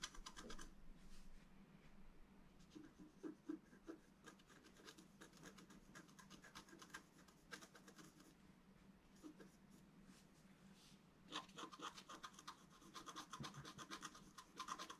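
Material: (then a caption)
Coated paper. A wooden stylus scratches fine lines into a thin, solid, flat black wax-coated scratch-art card. Quiet, dry scratching strokes follow one another rapidly, with louder, brighter bursts near the start and again in the last few seconds.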